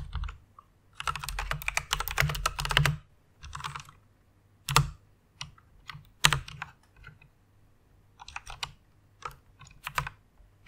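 Long painted nails and fingertips type and tap on a full-size white Ducky One mechanical keyboard with plastic keycaps and Cherry MX red switches, lit pink and resting on a fluffy pink pad. Fast bursts of typing alternate with scattered single taps, each a short, bright plastic clack over a low thock that dies away almost instantly.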